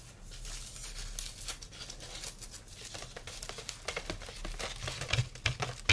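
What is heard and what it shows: A light, carved sandalwood folding fan is held open while its thin slats are tapped and scratched with fingertips and nails. The result is a quiet, dry, irregular patter of quick clicks and scratchy rustling with almost no ring. It grows into a few sharper, louder taps toward the end.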